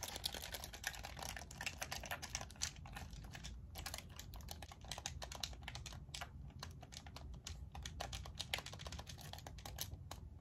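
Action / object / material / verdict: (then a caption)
tap / plastic game controller / plastic / none. Long acrylic nails tap and click rapidly on the buttons and shell of a black, hollow hand-held plastic game controller with pink thumbstick caps, held in both hands. The result is a quick, steady stream of short, bright clicks like keyboard typing, over a soft low background rumble.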